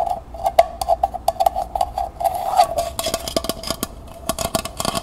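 Long nails tap and scratch the bottom and outer wall of a small, hollow, empty copper-colored metal pail lying on its side. A rapid series of light, dry taps each rings briefly with a metallic tone around 680 Hz, and a short scratching passage swells in the middle. The taps grow brighter and sharper toward the end.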